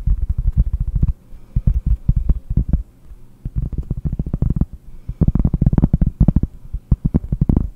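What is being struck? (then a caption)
Round cork trivet. Long painted nails tap quickly on a large, round, solid cork trivet held close up, producing rapid, dull, low thuds with almost no ring. The taps come in dense bursts separated by brief quieter pauses, with the busiest flurries near the end.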